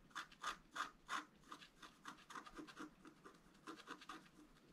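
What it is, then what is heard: Scratch art paper board. A wooden stylus scratches lines into a flat black coated scratch art paper board, producing a rhythmic series of 16 short, dry scraping strokes. The first few strokes are the loudest, with the rest fading to a softer, quicker scratching. Each stroke has a rasping mid tone around 1.2 kHz with a bright, papery hiss above it.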